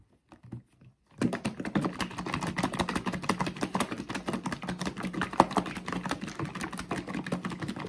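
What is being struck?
Plastic bottle of liquid.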